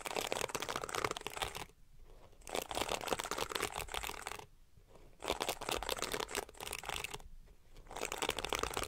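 Long painted nails scratch and flick across the tips of the pink, flexible plastic bristles on a palm-sized detangling brush, whose bristles face up. The result is dense, bright, crackling bursts, broken up by three short quieter pauses.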